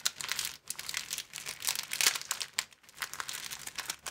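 An empty, thin clear plastic film sleeve strip is held in both hands and bent into a V shape and back, producing dense, bright crinkling. The crackles come in overlapping bursts with brief pauses, and there is almost no low end.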